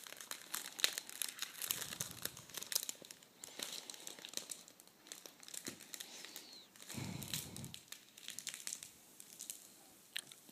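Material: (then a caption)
Foil paper. A large folded sheet of red metallic foil tissue paper on a table is smoothed and unfolded with fingertips and nails. It makes a quiet, continuous crinkle of bright, crisp crackles, with a couple of fuller rustling swells partway through.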